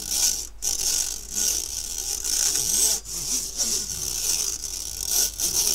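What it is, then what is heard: Stainless steel mesh sieve being scratched. A metal fork scratches across the fine stainless steel wire mesh of a round, medium-sized kitchen strainer with a metal rim, held empty by its handle in front of the microphone. The result is a bright, hissy rasping that runs in long back-and-forth strokes with brief dips between them, almost all of its energy high and very little low end.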